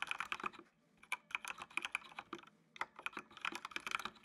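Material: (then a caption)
Plastic. Fingertips type on the keys of a full-size black plastic mechanical computer keyboard with RGB backlight. Quick, bright, dry clicks with almost no ring come in bursts, separated by short pauses just under a second and around two and a half seconds in.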